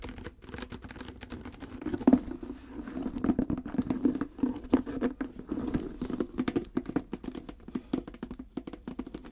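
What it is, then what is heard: Hollow leather hard case. Long red-painted nails tap and scratch the top of a hollow, reddish-brown croc-embossed leather hard case with a brass clasp, lying flat. Quick, dry clicks and scraping patter come in dense, uneven bursts over a hollow, low-mid resonance. Each tap dies away almost at once, and the sharpest tap lands around two seconds in.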